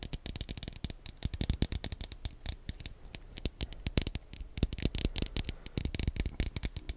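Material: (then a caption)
Plastic. Fingernails rapidly tap and scratch on the shell of a small, hollow, black plastic Wii nunchuk controller held in both hands close to the microphone. The result is a dense, irregular stream of sharp, dry clicks with faint scratching between them.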